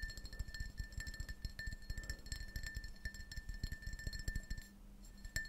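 A small, hollow, printed glass tumbler, apparently empty, is held upright between the palms while fingertips and nails tap its sides. Rapid, soft clinking taps come with dull low knocks and a steady ring near 1.8 kHz. The taps briefly pause near the end before a final few clinks.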